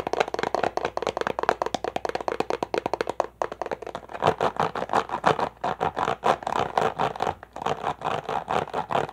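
An empty, thin, crushed clear plastic water bottle is held in both hands and tapped and squeezed with fingertips and nails. It gives a rapid run of dry, crinkly taps and crackles centered in the midrange, with almost no ring after each hit. After a brief pause the squeezing turns into denser, steadier crinkling bursts.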